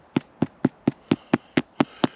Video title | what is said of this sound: overnighter pt 2 easy cooking inc swedish oven #hampshireoutdoors #dutchoven #wildcamping | so it sounds Hollow ... should mean it's cooked